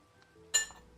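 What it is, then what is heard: Crispy crust on baked chicken. The crispy top crust of a plated chicken is tapped, apparently with a utensil, giving a single sharp, bright crackling tick that dies away within a fraction of a second. It confirms the crust is nicely crispy.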